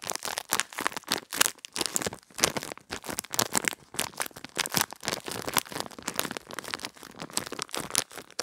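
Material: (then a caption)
Plastic. A small clear plastic retail bag with a cardboard header, holding a pink gel-bead pad, is held in both hands and crinkled and squeezed with the fingertips and long red-painted nails. The result is a steady stream of dense, rapid crinkles and crackles that is bright and hissy, with almost no low end. Each crackle is short and dry.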